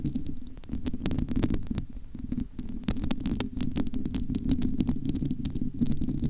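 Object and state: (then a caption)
Metal mesh microphone grille. The bare domed metal wire-mesh grille of a large, hollow studio microphone is scratched with long almond-shaped nails. A dense, low scratchy rumble is broken by many sharp, bright clicks as the nails catch on the mesh.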